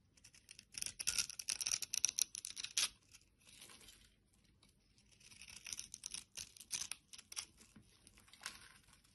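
A utility blade scrapes and carves crumbly pieces off a solid teal bar of soap held in the hand. Dry, bright, crackly scraping strokes come in two bursts, louder in the first couple of seconds, then a quiet pause before a softer second run of scrapes.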